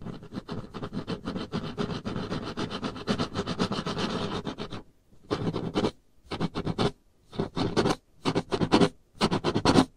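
Long painted nails scratch back and forth across a solid varnished wooden tabletop, making a dense, rapid scraping that runs steadily for about five seconds. After a short pause, the scratching returns as five separate short bursts. The sound is dry and rasping, with a low-mid body and little ring after each stroke.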